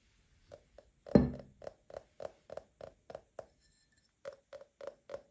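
An empty Paladone Mario Kart printed glass tumbler is tapped with short nails while it is rotated. There are 14 short, light clinks, each with a brief mid-pitched glassy ring. One heavier knock comes early, and the taps resume after a short pause.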